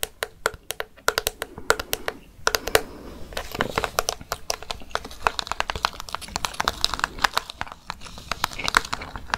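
A hollow translucent orange plastic jack-o'-lantern candy bucket with candy inside is tapped and scratched with long fake nails. The result is a dense run of sharp, bright clicks and crinkly scratching with a hollow plastic knock.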